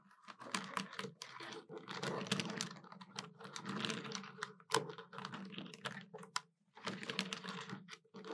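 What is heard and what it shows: Long nails tap quickly across the keys of a hollow black plastic desktop calculator using many fingers. Rapid, dense bursts of bright plastic clicks carry a hollow resonance, with a sharper, louder clack near the middle. Brief pauses separate the flurries.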